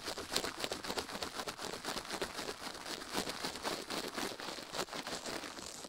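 A plastic toothbrush is brushed quickly over a silicone ear microphone in close-up. It makes a dense, crinkly scratching with rapid, uneven strokes at roughly four per second, bright and hissy with little low end. The steady bristle noise continues throughout without pause.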